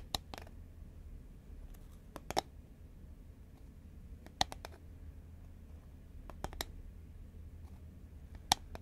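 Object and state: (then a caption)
Cardboard snack tube tapped with fingernails. A green Pringles cardboard tube lying horizontally is tapped with long nails, giving nine short, sharp clicks in loose pairs over a low steady hum. Each tap is crisp and bright with a hollow midrange tone around 800 Hz and dies away almost instantly.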